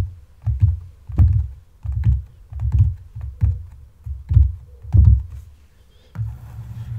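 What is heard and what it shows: Fingertips and long nails tap and scratch the leather upper and sides of an empty brown leather wedge loafer with a buckle strap resting on a table. The taps come out as soft, hollow, low thuds in uneven bursts, with faint scratchy texture between them and a short trailing rub at the end.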